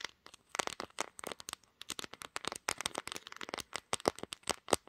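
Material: Glass.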